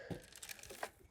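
The filter basket of an iGarden M1-AI robotic pool cleaner is handled, and the leaves and rocks collected inside rustle and rattle. A short series of dry crinkling and crunching bursts is heard, with a low thump near the start and a brighter clatter near the end. The basket sounds full.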